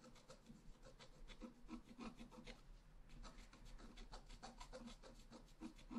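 A pointed wooden stylus scratches a flat, black-coated scratch-art card lying solid on a table. Quick, irregular scratching strokes give dry, raspy bursts with a bright hiss, over a steady low hum. Each stroke dies away almost at once.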